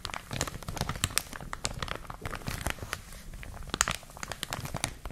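A clear, thin plastic bag wrapping a printed product is crumpled and crinkled between both hands with long nails and fingertips. Dense, crisp crackles and sharp bright snaps come in quick irregular bursts over a soft low rustle, each spike dying away almost instantly.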